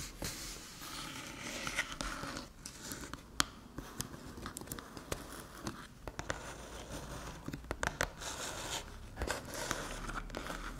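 Long metallic nails tap and scratch the top of a small, flat, hollow aluminium USB-C hub resting on a dark table. Bright, dry clicks with almost no ring stand out over a steady scratchy, crinkly rasp.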